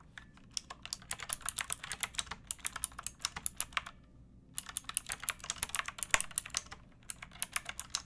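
Long painted fingernails and fingertips type on a pink backlit plastic mechanical keyboard with round typewriter-style keycaps and a hollow case. The result is a steady stream of bright, short clicky keystrokes with a brief pause a little before the midpoint.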